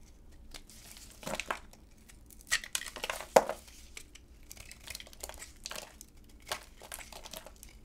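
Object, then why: Bar of soap cut with a blade. A solid, dry orange bar of soap, already peeled of its glossy red coating, is held in black-gloved hands and shaved and cut with a utility knife blade. The blade makes a series of dry, crisp scraping and crackling strokes, some short and some drawn out, with bright, hissy highs. A few sharper snaps stand out near the middle.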